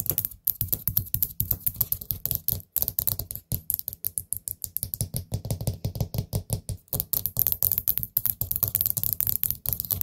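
Long nails tap rapidly on the gold stem lid of a small, hollow, orange glazed ceramic pumpkin-shaped candle pot. The taps come as quick, irregular clicks with a bright, crisp top and a low, hollow thump beneath. Each tap dies away almost instantly.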